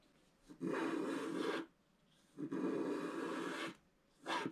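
A wooden stylus scratches repeatedly across the upper area of a black-coated scratch-art paper page. Three separate strokes are heard, each a dense, raspy scratch with a low-mid body and a bright, papery edge, separated by near silence.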